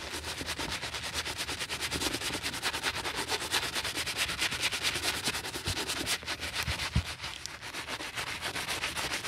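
A bristle brush scrubs foam across the heel of a white leather sneaker in quick, steady back-and-forth strokes. The strokes make a dense, bright, hissy scratching that keeps its level throughout, with a few brief louder taps near the end.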